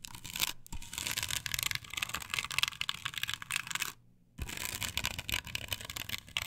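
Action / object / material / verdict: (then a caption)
scrape / plastic stencil on a wooden board / plastic / none. Long pointed nails scratch and tap across a flat, perforated plastic stencil template glued solidly to a wooden board. The result is a dense, bright, crackling scratch with quick dry taps, pausing briefly near the start and going quiet for a moment before the scratching resumes.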